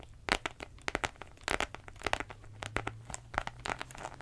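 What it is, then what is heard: Faux leather wallet being scratched. Long nails scratch across a beige croc-embossed pleather wallet, raking its textured surface and its metal-trimmed side. The result is a fast run of dry, crinkly scratches and ticks, bright and short with almost no ring, over a faint steady low hum.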